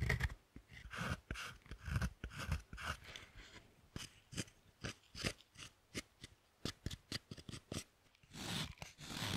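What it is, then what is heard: Dark chocolate bar being shaved. A thin metal carving tool with a wooden handle scrapes the surface of a large, solid dark chocolate bar resting on a second bar, raising chocolate shavings. Quick, dry, crunchy strokes repeat in a steady series, each with a low body and a bright, crisp edge. The clip closes with a longer, rougher scrape.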